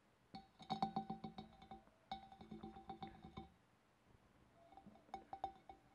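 Fingernails tap on a glass fish bowl in three quick bursts of rapid, uneven clinks. Each tap gives a short, bright glassy ring centred around 780 Hz that fades almost at once, with quiet gaps between the bursts.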